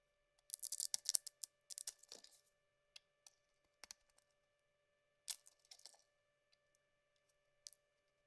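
A metal blade scrapes and peels thin curls from the surface of a solid yellow bar of soap held in the palm. Quiet, bright, crisp scratching comes in short clustered bursts with gaps between them, over a faint steady hum.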